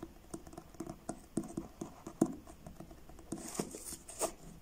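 Fingertips tap slowly on the blue card cover of a paperback book, making soft, dull, separate taps that die away almost at once. Toward the end the book is turned sideways, adding a brighter scraping rustle and a final sharper tap.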